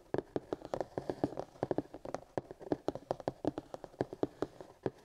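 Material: Plastic.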